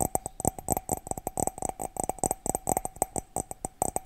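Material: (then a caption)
Ceramic. A cat-shaped ceramic mug is tapped rapidly, giving about 25 quick, bright clinks with a short ring around 750 Hz. The taps come in uneven bursts over four seconds, each dying away almost instantly.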